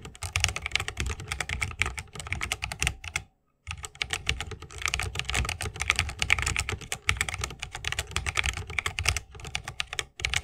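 Fingertips of both hands type fast on a 60% mechanical keyboard with plastic keycaps on tactile Holy Panda switches, set in a solid bamboo wooden case with RGB lighting and resting on a wrist rest. A dense stream of sharp, bright clacks with a low thocky body runs throughout, broken by a brief silent pause near 3.3 seconds.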